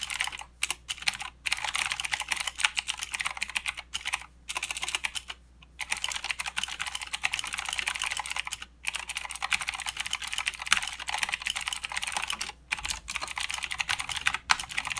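Fingertips of both hands type continuously on a full-size mechanical keyboard with plastic keycaps and blue clicky switches. The result is a dense stream of sharp, bright clicks with almost no low end, broken only by a few brief pauses.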